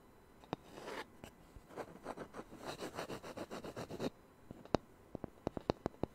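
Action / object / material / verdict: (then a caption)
tap / small thin round wooden disc / wood / none. A small, thin, solid round wooden disc cut from a Taylor guitar's sound hole and used as a coaster is held in one hand close to the microphone and worked with fingertips and nails. A stretch of soft, rhythmic scratching and rubbing gives way to a series of sharp, dry, woody taps with a low-mid tone around 300 Hz and almost no ring.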